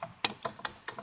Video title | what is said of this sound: Belt tensioner - rattle noise | that's how it sounded when accelerating that rattling noise